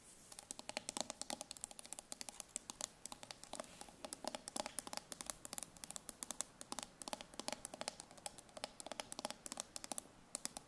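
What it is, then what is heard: Steel food can bottom tapped and scratched with nails. Long nails rapidly tap and scratch the ridged metal bottom of a steel tin food can held on its side in the hand. The result is a dense, fast stream of sharp, bright clicks and scrapes with almost no low end. Each hit dies away instantly, and the sound stays quiet throughout.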